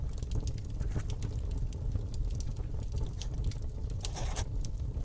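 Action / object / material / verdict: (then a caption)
scrape / metal pen nib on a paper sheet / paper / none. A fountain pen's metal nib scratches across a flat sheet of paper on a desk, close-up, while writing cursive lettering. Soft, steady low rumble runs throughout, with short, bright scratchy ticks from the nib scattered along the strokes.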